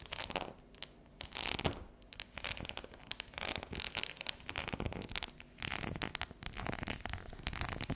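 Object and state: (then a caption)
Dark chocolate bar. Long, natural neon-yellow fingernails tap and scratch a solid, unwrapped dark chocolate bar with a ridged pattern as it lies on a table and is then tilted up. The result is a dense, irregular run of quick, bright clicks and dry, scratchy rasps with little ring.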